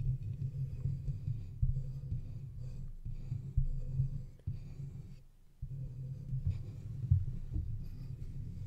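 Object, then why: Metal microphone body. Fingertips scratch and tap the sides of a hollow silver metal microphone body, producing a dull, muffled rumble concentrated in the deep low end around 90 Hz. Sharp thumps from the taps punctuate the continuous rough scraping, which briefly fades to near silence just past the five-second mark before resuming.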